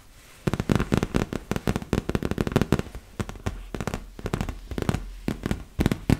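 Long nails tap quickly on the surface of a large, hollow, inflated yellow and blue PVC vinyl beach ball. After a brief quiet start, a rapid, uneven run of short, dull, hollow taps follows, low and boomy with almost no bright edge. Each tap dies away almost instantly.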